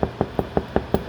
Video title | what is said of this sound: White bread modified | when it sounds Hollow H listen to that crisp